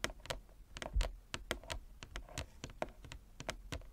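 A wooden chess board is tapped with fingernails in a quick, irregular series of light taps. Each tap is a short, sharp click with a bright top and a soft low thud underneath that dies away almost at once.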